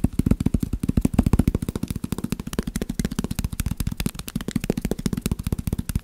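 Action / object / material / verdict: tap / stack of paper sticky notes / paper / none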